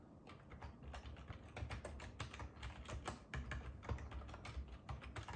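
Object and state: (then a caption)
Plastic computer keyboard being typed on. Fingertips and short nails type rapidly on a black ergonomic plastic computer keyboard resting on a wooden table beside a hardcover book. The result is a steady, quiet stream of soft, muffled key taps with a deep, low thud under each press and short, dry clicks.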